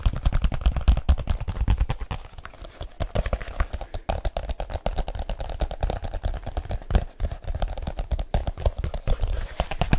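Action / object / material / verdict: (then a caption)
tap / leather case / leather / none. A large black leather case is held up and curved while fingertips and nails tap on it rapidly. The result is a fast, dense stream of short, dry, thumping taps with deep low-end body and very little ring, shifting in loudness throughout.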